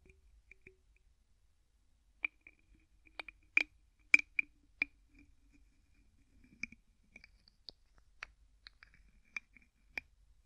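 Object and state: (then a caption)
Plastic bottle screw cap clicking. Fingertips twist the white plastic screw cap of an empty clear plastic bottle back and forth. About ten quiet, sharp clicks sound at uneven intervals, each dying away almost instantly. The clicks are bright and thin, centered near 2.4 kHz, with no low end.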